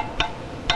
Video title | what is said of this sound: Moped Safety 16mm Film - 1979 in HD (entire film) | on spoke wheels the tightness of the spokes is determined by tapping them they give an even high pitched sound